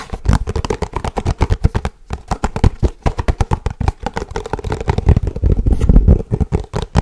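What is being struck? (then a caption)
Paperboard box. A small, hollow, rectangular white and blue paperboard box with unseen contents is held in both hands and quickly tapped and scratched with fingertips and short nails across its top and sides. The result is a rapid, dense stream of dull, low, hollow thumps with short scratchy brushes, pausing briefly around the two-second mark before carrying on fast to the end.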